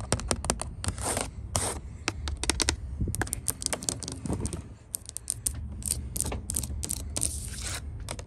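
Long nails tap rapidly on the white-painted solid wooden top rail of a porch handrail, making a stream of short, dry, sharp clicks that die away almost instantly. A few brief, brighter scraping sweeps of the nails across the painted surface break up the tapping, over a steady low rumble.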